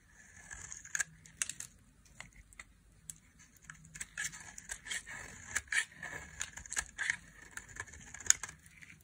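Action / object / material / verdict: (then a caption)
scrape / bar of soap scraped with a small metal blade / soap / none. A solid orange bar of dry soap, held in the hand, is scraped with a small metal blade, shaving off crumbly dry curls. A series of short, crisp, crackling scrapes rises over a faint low hum, each one bright and hissy with a band near 2 kHz and more energy up high, stopping almost at once with no ring.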